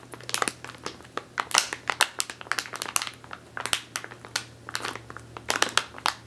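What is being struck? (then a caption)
Plastic bag of flour. Long teal nails squeeze and scratch a medium clear plastic bag with a purple label, full of flour or grain, resting on a wooden table. Rapid, irregular bursts of bright, dry crinkling follow one another throughout, each snapping off almost instantly, over a faint steady low hum.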